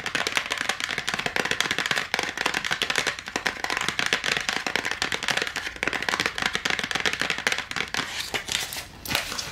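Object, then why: Cardboard backing of a battery blister pack. Long nails tap fast on the cardboard backing of an AA battery blister pack, held up with the plastic blister and its batteries below. The result is a dense, unbroken stream of dry, crackly clicks, bright with almost no low end, easing briefly near the end before picking back up.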